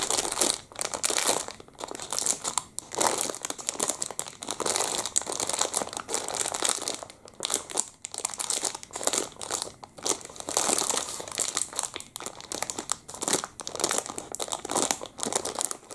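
Fingertips grip and crinkle the film of a clear plastic muffin packet, still filled, held near the face. Dense, bright crackling bursts come and go throughout, with almost no low end and no ringing after each crunch.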